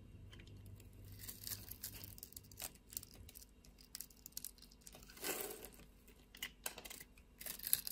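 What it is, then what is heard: Bar of soap being scored and scraped with a knife. A knife blade scores a fine grid into a solid pink soap bar held in the palm, then scrapes off flakes. The clip is full of quiet, bright, dry scratching and crisp crumbling strokes with a faint low hum underneath, and a louder, fuller scrape rises midway.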